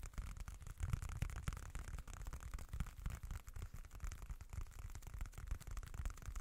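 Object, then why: Folded leather wallet. A small, dark, folded leather wallet with a leather-look finish is scratched with short nails and fingertips. The result is a quiet, continuous scratchy rustle with many quick, dry scrapes and almost no ring. Its energy sits mostly low, around a dull 86 Hz thrum, with only faint high hiss.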